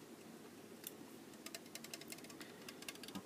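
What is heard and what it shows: A small green and silver Heineken aluminium beer can, hollow with its fill level unknown, is held in one hand and tapped with the fingertips and nails of the other. A quiet, irregular series of light, bright clicking taps rises over a soft hiss, each tap short with almost no ring.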